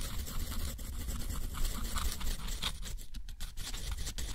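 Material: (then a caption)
Paper. A steel nib scratches across a thick, rough sheet of white textured watercolor paper, drawing dense curls and then a straight stroke. The result is a continuous dry, gritty scraping with faint bright scratchy detail over a steady low rumble. Brief dips and lifts in loudness follow the pen's movements.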